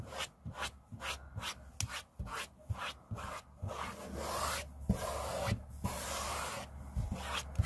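Hand edges and a flat palm rub across a large, flat, solid grey laminate tabletop, making quick, rhythmic swishing strokes that give way to longer, steadier rubbing passes. A few brief, sharper knocks cut through over a constant low hum.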